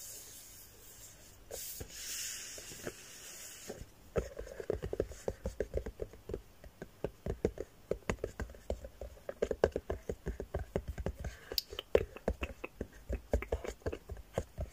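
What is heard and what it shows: Long painted nails and fingertips scratch and tap the lid edge and sides of a medium red cardboard gift box with a lid, which seems to be empty. Soft, airy scratching fills the first four seconds. It gives way to a quick, uneven run of dry, hollow, low taps that die away almost instantly.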